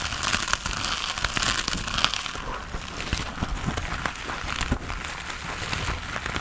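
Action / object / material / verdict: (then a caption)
scrape / foam sponge with foam handle / foam / none. Fingernails scratch the surface of a hand-sized grey textured foam sponge on a tan foam base, solid and porous, held in both hands. The scratching makes a steady, dense crackling and crinkling rasp with a bright, hissy edge and many quick, sharp ticks throughout.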